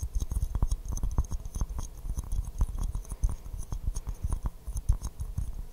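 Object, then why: Porcelain teacup. An empty white porcelain teacup with a pink rose print is held upside down in both hands while fingernails tap and scratch across the hollow cup. A quick, uneven stream of short, dry taps mixes with faint scratching, each tap dying away almost instantly with a dull, low body.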